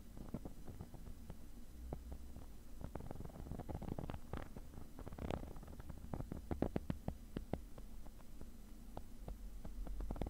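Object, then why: Padded nylon mesh fabric case. A black woven nylon zippered case, padded and hollow, has its textured fabric surface scratched with a thin metal pick tip. The result is quiet, low, rumbling scratching with many short, sharp scrapes and ticks scattered throughout.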